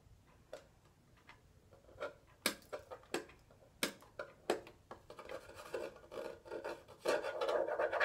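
A small, hollow pink metal twin-bell alarm clock is held and turned over while fingernails scratch and rub its black back panel and casing. Sharp, dry taps and scrapes arrive at an uneven pace at first, then merge into a denser, steadier scratching with a midrange tone near 600 Hz and bright edges. The sounds stop almost at once with no ring.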